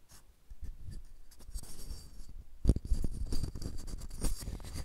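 Knuckles and fingertips tap and knock on the face of a flat, light wooden block or box set in front of a recorder. The taps are short, dull and low, with soft scratchy rubbing between them. The loudest knock lands near the middle, and the tapping continues in an irregular, closely spaced patter.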